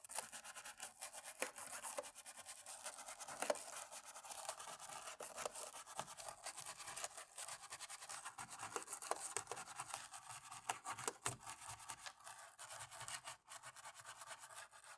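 A cotton-tipped thin stick scrubs in the crevices between the black plastic keys of a dirty laptop keyboard during cleaning. The result is a quiet, continuous, bright scratchy rubbing, like a toothbrush, with almost no low end and frequent tiny clicks and ticks throughout.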